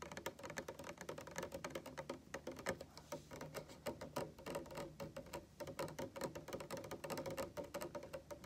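A translucent, hand-height plastic cup filled with pale yellow liquid stands on a table and is tapped on its side with fingertips and nails. Fast, irregular streams of quiet, dry clicks and taps come out with a faint hollow tone around 535 Hz. Each tap dies away almost at once.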